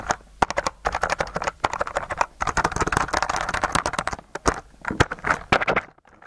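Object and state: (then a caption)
Slime-covered plastic keyboard being typed on. A white mechanical keyboard with plastic keycaps covered in blue slime is held tilted up near the microphone while the fingers of one hand press and stroke the keys through the slime. Quick, dense clacks mix with wet, sticky squelches and smacks centered in the midrange, with a few sharper, louder taps standing out. The typing thins out and falls quiet at the end.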